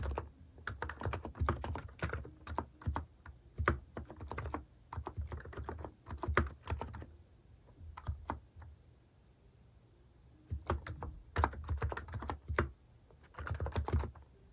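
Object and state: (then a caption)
Plastic keycap capacitive keyboard. Fingertips type on the plastic cat-themed keycaps of a capacitive keyboard resting on a wooden desk. Soft, rapid, muffled clicks come in bursts with brief pauses, giving a low, rounded thock with little high-end snap.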